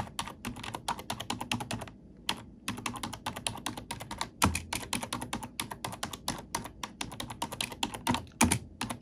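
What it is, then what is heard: Plastic computer keyboard typing. Black plastic keycaps on a plastic computer keyboard are pressed and tapped with an index fingertip and long nail, making a rapid, steady stream of bright, clicky keystrokes. There is a brief pause near the two-second mark, and occasional heavier thumps near 4.5 and 8.4 seconds stand out above the even clatter.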